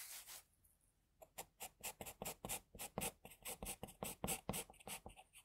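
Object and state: Pencil strokes on drawing paper.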